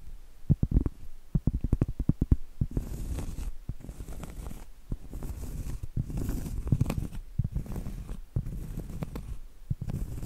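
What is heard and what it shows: Medium acrylic nails tap and scratch on a round, flat, solid cork trivet held upright. Quick, dull, low-pitched taps give way to longer stretches of soft, brushing scratches with a faint airy hiss. The sound is muted and has almost no ring.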